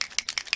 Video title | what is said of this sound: #diy #polymerclay More Metal Colors #Swellegant And #alcoholink | i rattled that ball loose and then i continued to shake it